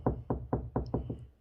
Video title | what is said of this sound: HART STUD 3 LED STUD FINDER | when you hear this sound that's hollow